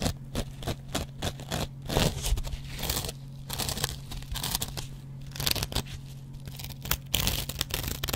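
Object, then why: Cellulose kitchen sponge with abrasive scouring pad. A metal double-edge razor blade scratches a hand-sized dry kitchen sponge of yellow cellulose foam, mostly across its green abrasive scouring-pad layer. Rapid, bright, crunchy scraping strokes come in bursts and tear-like rasps over a steady low hum, with the strokes dying away almost instantly.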